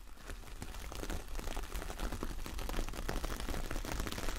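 Long nails scratch across the bristly surface of a large, flat, solid coconut coir fibre door mat with a star print. The result is a dense, continuous crackly scraping with a heavy low-frequency rumble that grows slightly louder over the clip.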